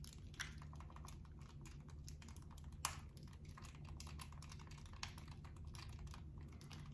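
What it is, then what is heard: Plastic handheld game console. Fingertips tap and handle the shell and hinge of a small, hollow, closed dark-blue plastic flip handheld game console. A rapid stream of soft, dry, clicky taps with a hollow plastic tone sounds over a steady low hum, with a few sharper, louder taps standing out. Each tap dies away almost at once.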